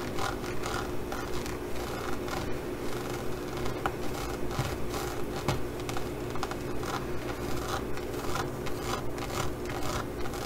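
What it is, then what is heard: Studded faux leather pouch. Fingertips and nails rub and scratch across a green faux leather pouch embossed with pyramid studs. The result is a steady, close, textured scratching with soft repeated strokes at a loose rhythm, heavy in low tones with faint brighter ticks.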